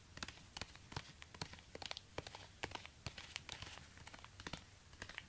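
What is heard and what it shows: A single black high-heel stiletto pump with a worn synthetic rubber sole is held upside down, hollow and empty, while orange rubber-gloved fingers tap and scratch the sole. Many quiet, sharp taps sit over a soft, continuous scratchy rustle with a bright edge and little low end, each tap dying away almost instantly.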